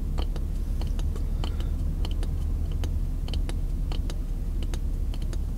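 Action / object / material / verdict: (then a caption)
tap / pine wood block / wood / none. Fingertips and nails tap and scratch a solid piece of pine lumber, about the size of a short 2x4 offcut, held in one hand. Quick, light, bright ticks and clicks scatter irregularly across the clip over a steady, dominant low hum.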